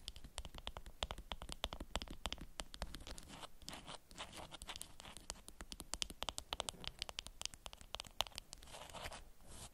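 Long nails scratch and crinkle the waxed surface of a beeswax-coated cotton wrap folded around a small object. Quick, dry scratches and crisp crinkles come in a dense, uneven stream, with bright high hiss on top and a soft low rumble beneath. It ends with a longer rustle.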